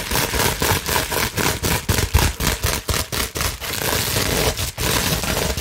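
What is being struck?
Plastic bubble wrap sheet.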